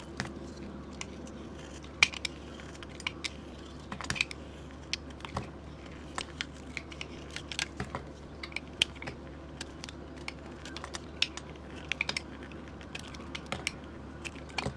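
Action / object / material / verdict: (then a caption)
scrape / bar of soap cut with a metal blade / soap / none. A metal blade repeatedly carves thin curls off a solid white soap bar with a painted moon design, held in hand. Many short, crisp, bright scraping clicks snap off in an uneven stream over a low, steady background hum, each dying away almost instantly.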